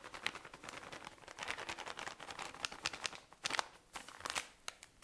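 A tall cylinder of cotton pads in thin plastic wrapping is squeezed and crinkled with fingernails. A steady stream of soft, bright crinkles and quick ticking taps runs throughout, with a few sharper crackles standing out. The sound is quiet and crisp, with almost no low end and no ring after each crackle.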